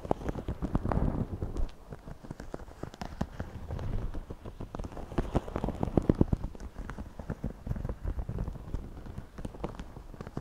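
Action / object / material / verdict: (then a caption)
scrape / woven straw hat / straw / none. Fingertips and nails scratch the woven crown and brim of a white wide-brim woven straw floppy hat worn on the head, using quick repeated strokes. The result is a dense, dry crackling and scratching with a low, muffled body, like rain pattering on a surface, swelling in bursts around the start and middle.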